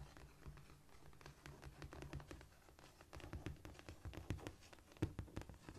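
Long painted nails of both hands scratch, scurry and tap across a flat, solid cork floor surface. The result is a quiet, dry patter of short clicks and soft scratching with a low, dull thump beneath and brief bright ticks that stop instantly.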